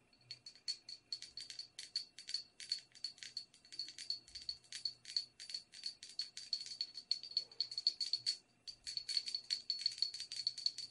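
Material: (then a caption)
Porcelain. Long red acrylic nails tap and scratch a small, hollow, apparently empty white porcelain teacup with a silver patterned band, held in both hands. The result is a quick, steady run of bright, clicky taps with a high, thin ring that dies almost at once, plus light scratching between them.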